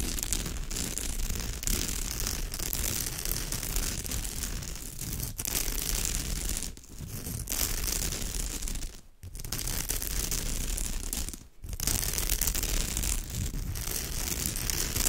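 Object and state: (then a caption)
Woven straw bag being scratched. Both hands scratch fast with long nails across the woven surface of a straw bag, making a dense, continuous crackling scratch with a strong low rumble and a bright, hissy top. The scratching runs steadily for about fifteen seconds, easing briefly a few times before starting again.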